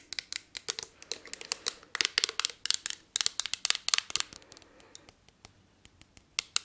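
Long nails scratch and tap across the ridged surface of a palm-sized blue textured glass perfume bottle. The result is a rapid string of sharp, bright clicks and short scratches with almost no ring or low end, steady through the middle and thinning toward the end.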